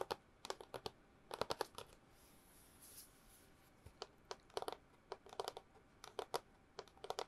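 A long hollow cardboard tube is tapped with long nails in quick, irregular bursts of dry, clicky taps, each with a short hollow midrange knock. About halfway through there is a brief pause filled with a soft, high hiss. The taps stay quiet and close, with almost no ring after each one.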